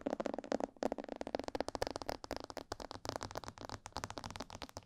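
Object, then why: Hollow plastic mannequin head. Long purple-painted fingernails tap and scratch both sides of a life-size, hollow, glossy black plastic mannequin head (a binaural microphone head) near the ears. About two dozen quick, crisp clicks ring out with hollow, mid-pitched resonance, mixed with light scratching, and each one fades almost instantly.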